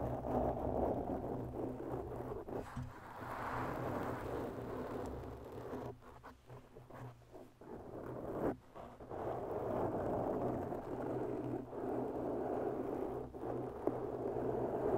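Long bare natural nails of both hands scratch slowly over a black, soft porous foam windscreen on a microphone. A dense, muffled scratching rustle sits in the low-mid range, with a low steady hum beneath and a few soft drops and bumps along the way.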